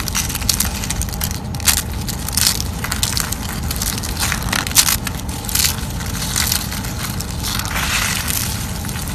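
Thin slices of dried yellow soap are snapped and their flakes crushed by fingers on a wooden surface. A steady stream of dry, crunchy crackling fills the clip, with brief bright snaps standing out over a low rumble.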